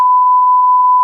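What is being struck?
Nothing is struck.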